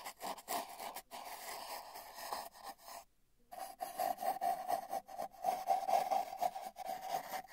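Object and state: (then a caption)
Cardboard tube brushed. Paintbrush bristles brush and stroke the surface of a long, hollow, spiral-wound cardboard tube, captured by a microphone inside the tube. The soft, papery swishes carry a hollow resonant hum around 700 Hz and come in irregular strokes. A brief near-silent pause falls at about three seconds before louder, more resonant strokes resume.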